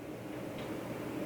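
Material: Nothing is struck.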